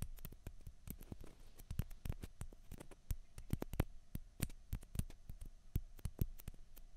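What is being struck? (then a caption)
Plastic ping pong balls. Long fingernails tap fast on two small hollow white plastic ping pong balls, one held in each hand. The result is a quiet, irregular stream of sharp, dry clicks that die away almost instantly, with a soft low thump under each tap.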